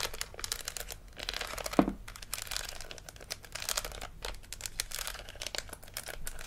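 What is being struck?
Hollow plastic toy dental model.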